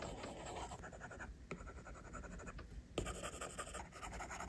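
A plastic stylus tip draws line strokes across the glass screen of an iPad, making a quiet, continuous scratching like writing. The soft rubbing strokes run throughout, with a couple of sharper taps where the tip meets the glass.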